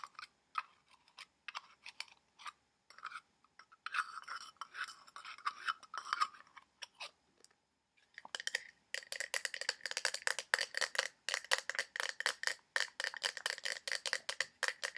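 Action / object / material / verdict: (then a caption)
tap / small glass bottle with cap / glass / none. Fingertips and short nails tap and scratch quickly on the sides and black cap of a small, hollow blue-green glass bottle, likely a perfume or cologne bottle. Sparse, light clicks and scratches give way after a brief pause to a dense run of fast, sharp taps with a bright, glassy clink around 1.8 kHz.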